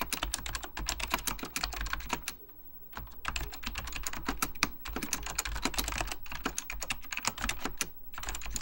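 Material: Plastic.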